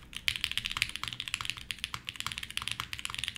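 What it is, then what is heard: Mechanical keyboard with plastic keycaps. A red-cased 60% mechanical keyboard with white plastic keycaps and an aluminum plate is typed on with fingertips. The result is a quick, steady run of bright, clicky key strikes, each short and crisp with little low end. A DVD case lies nearby but is not touched.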